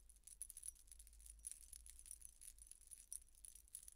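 A large silver-toned statement necklace of layered metal chains, hung with many thin round metal discs, is held up in one hand near long dark-painted nails and shaken. The discs jingle and clink against each other in a quiet, continuous bright shimmer with sharp little peaks. A low rumble sits underneath throughout.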